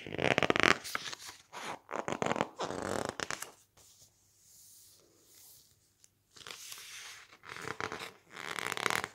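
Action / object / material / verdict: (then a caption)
scrape / softcover book with thick glossy paper pages / glossy paper / none. Fingertips grip, squeeze, rub and turn the thick glossy pages of an open softcover book. Bursts of bright, crackly paper rustling and crinkling come in uneven waves. A quieter stretch of soft friction hiss falls in the middle before the louder rustling returns.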